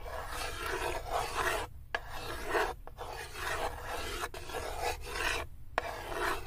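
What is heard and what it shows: Fingers with long acrylic nails grip a small solid wood cube and rub and scratch it along the floor and side of a light, unfinished wooden tray with cut-out handles. About five dry, rasping scrape strokes are heard, separated by brief pauses, with a gritty mid-range texture and little ring.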